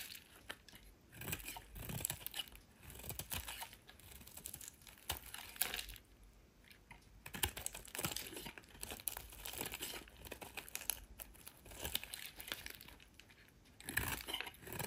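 A solid pale green soap bar held in the hand is scraped and carved with a metal utility knife blade. The result is a steady run of dry, crisp scraping, crackling and crumbling sounds with a bright, hissy top, coming in bursts with brief pauses between them.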